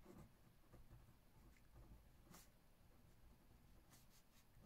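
A metal ballpoint pen held in the fingertips writes left-handed across an open spiral-bound notebook page full of handwriting. Quiet, steady scratching of the pen on paper sits over a low, muffled rumble, with a few brief brighter strokes standing out near the middle and toward the end.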